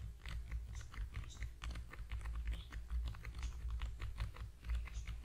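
A small, long, narrow, hollow cream/yellow cardboard product box with a printed logo is held in both hands just above a foam-covered microphone and tapped fast with the fingertips of both hands. The result is a steady run of soft, hollow taps with a heavy low-end thump and faint crisp clicks on top.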